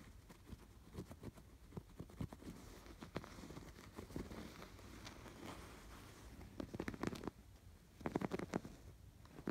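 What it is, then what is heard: Yarn-embroidered canvas pillow. Fingertips scratch along the curved stitched lines of a stuffed canvas pillow with raised yarn embroidery. The result is a quiet, dry scratching and rustling with short, crackly strokes. Denser bursts of strokes come around the seventh and ninth seconds.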